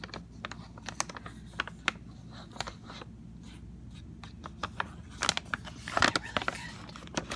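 A rectangular, hollow Sun Tropics CocoRolls cardboard snack box is tapped and scratched on its printed face with fingernails and fingertips. Quick, crisp clicks and ticks are heard, with brief scratchy rustles between them. The sounds are quiet and irregular, grow busier and louder toward the end, and cluster most densely around the sixth second.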